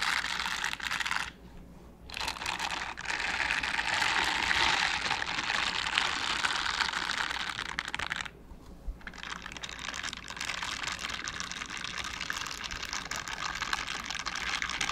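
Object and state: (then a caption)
Silicone scrubber gloves. Mint-green silicone bristle scrubber gloves worn on both hands have their bristled palms rubbed and brushed together. The result is a dense, bright, crackly scratching texture of rapid bristle strokes that stops briefly twice before resuming.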